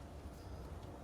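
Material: Nothing is struck.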